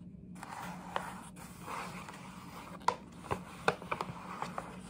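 Long nails scratch and rub across the flat side of a printed paper gift bag held close, making a soft continuous papery rustle with a faint low hum underneath. Sharp crinkly clicks and ticks stand out irregularly, bunching together in the second half.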